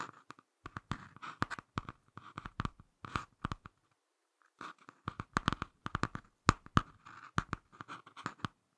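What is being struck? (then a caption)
Laminated cardboard book cover. Fingertips and short nails scratch and tap the front of a small closed Ladybird hardcover picture book with a laminated cardboard cover. Quick, irregular dry taps and scratchy strokes come in two bursts separated by a brief pause. Each sound stops dead with almost no ring.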